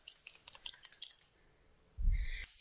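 An old paint marker, its pigment separating, is shaken so the mixing ball rattles inside to mix the paint and get the marker working. About ten quick, bright clicks fill the first second and a quarter, then a short quiet stretch follows before a low rumble and a final click.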